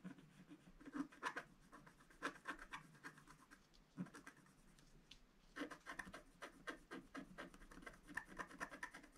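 A pointed wooden stylus repeatedly scratches a flat black, wax-coated scratch art sheet. The result is quiet, dry, gritty scratching in short bursts of strokes, with a brief lull in the middle before the scraping picks up again.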